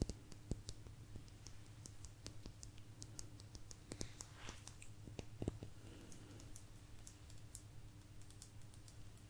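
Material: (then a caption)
Agate. A small, thin, solid blue agate slice with a crystal rim, held up, is tapped and scratched with long nails. Quiet, sharp clicks and brief scratchy strokes sit over a steady low hum. The taps ring for only a split second.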